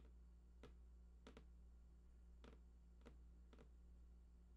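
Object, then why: Printed cardboard box. Fingertips tap the right side edge of a large, hollow, printed cardboard PlayStation 4 box with unknown contents. The result is a series of soft, dry, brief taps, some in quick pairs, heard over a steady low hum.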